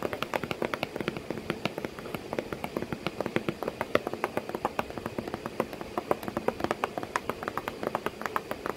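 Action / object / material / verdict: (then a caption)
tap / cardboard box / cardboard / none. Fingers tap quickly and steadily on a cardboard box with a cat sitting inside it. Short, dry, hollow knocks sit mostly in the midrange and die away almost instantly. Faint background noise runs underneath throughout.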